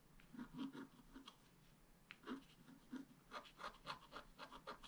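A wooden stylus scratches a dragon outline into a flat black-coated scratch-art card. Short, dry, rasping strokes come in quick bursts with brief quiet gaps. Each stroke has a bright, papery scrape and a soft low rub beneath it.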